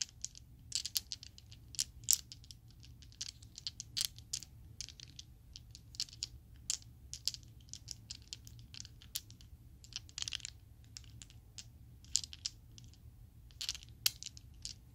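A set of small solid purple plastic Chessex polyhedral dice is shaken in an open palm, so the dice clack together. The result is a quick, irregular patter of sharp, bright clicks that die away almost instantly, with a few louder clacks standing out over a faint low background hum.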